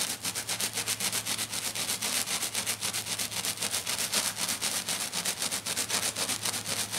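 Both hands scratch aggressively with short dark-painted fingernails across a flat silver glitter sheet lying on a table. The result is a fast, steady stream of harsh, bright, hissy scratching strokes, about four per second, each cutting off quickly. A faint, steady low hum sits underneath.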